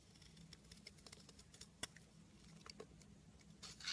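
A metal blade carves and crumbles a solid blue bunny-shaped soap, making quiet, bright scraping with many small crisp ticks and flakes. One sharper snap stands out midway, and the clip ends in a louder, rasping burst of crumbling.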